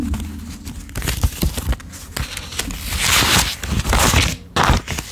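A handful of US $10 paper bills is held in the left hand while fingertips pull them off one at a time and lay them on a pile, counting and rubbing the paper. Crisp, papery crinkles and short snaps repeat with soft low thuds. A longer, brighter rustling swish rises in the middle before the quick flicks return.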